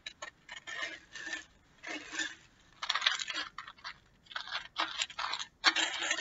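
A small, hollow, clear plastic bottle packed with small, colorful loose pieces is held up in one hand with painted nails and shaken in short bursts. The contents rattle with a bright, dry, crackling clatter that has almost no low end, and each burst stops abruptly between shakes.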